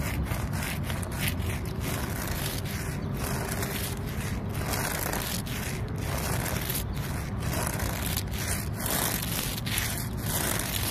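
Fingertips and long nails rub and scratch the rough bark of a large, solid tree trunk. A steady, gritty scraping and rustling carries on without a break, with a heavy low rumble under dry, brighter scratchy texture.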